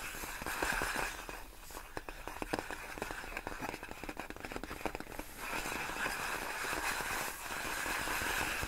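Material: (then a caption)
Plastic. Long nails scratch and tap a large clear inflated plastic air-column cushion wrap made of hollow air-filled tubes. Bright, crinkly scraping alternates with a stretch of quick, sharp, irregular taps in the middle. The steady crinkling then returns until the end.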